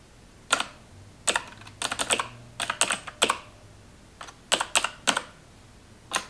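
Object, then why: Plastic computer keyboard. A full-size black plastic computer keyboard resting on a counter is typed on with long acrylic nails and fingertips. Quick bursts of sharp, bright clicking key taps come in small clusters with brief pauses between them. A faint low hum sits underneath.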